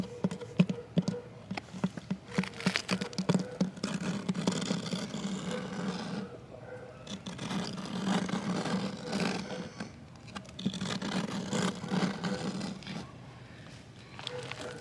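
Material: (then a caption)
Plastic. Fingertips and nails tap and scratch across a worn, flat green plastic utility or valve box lid set in the ground. Quick, irregular taps with a short, hollow, low plastic tone alternate with longer rasping scratch passages that rise and fall.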